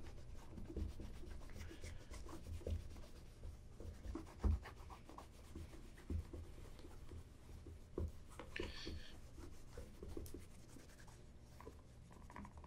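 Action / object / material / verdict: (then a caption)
scrape / polished leather ankle boot / leather / none. A black polished leather ankle boot, hollow and empty, stands on a wooden table and is rubbed with a cloth wrapped around the fingertips. Quiet, steady rubbing and wiping are heard, mostly low and muffled, with occasional soft knocks and brief brighter scuffs.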